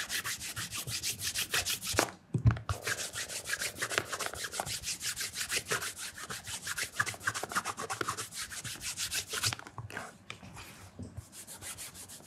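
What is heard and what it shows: Cloth-wrapped fingers rub and polish the leather upper and toe edge of a black leather loafer fitted with a wooden shoe tree and lying on its side. A steady run of bright, hissing rubbing strokes comes at about two per second, with a low thump and brief pauses near 2.5 and 10 seconds.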